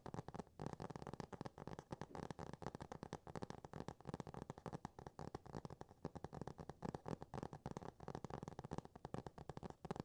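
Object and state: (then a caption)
Hardcover cardboard book. Fingertips and nails tap and scratch a solid hardcover book with a laminated cardboard cover, up close. It makes a steady stream of quick, dull, low taps mixed with soft scratching, each tap dying almost instantly with very little high brightness.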